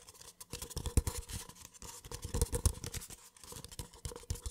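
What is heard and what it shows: A small, empty white paper cup is held sideways while fingertips tap and scratch its hollow outer wall. The result is a quick, irregular run of soft, dull taps and papery scratches that stop dead with almost no ring, carrying low thumpy weight and faint bright scratchy texture.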